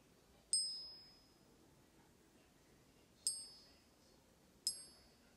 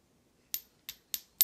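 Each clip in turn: First: genuine gold coin. Second: non-gold metal, high short ping.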